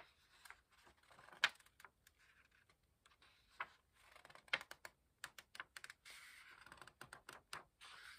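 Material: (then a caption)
Paper. Fingertips lift and turn the paper pages of an open paperback book, making a series of quiet, crisp flips and soft rustles. The sharp, bright paper snaps come at an uneven pace, with softer sliding whispers of paper between them.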